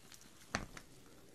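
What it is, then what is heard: Plastic artificial chili pepper strings shaken. Two strands of artificial plastic chili peppers on twine are held out at the sides and shaken, so the small hollow peppers patter against each other. A few light plastic clicks are heard, with one sharper rattling tap standing out above the rest. The taps are bright and short, dying away almost at once.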